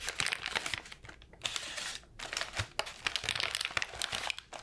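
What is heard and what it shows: A ball of light wrapping paper is squeezed, crinkled and scratched with fingers and nails. The result is a dense run of bright, crackly crinkling in bursts, with brief quieter gaps between them and almost no low end.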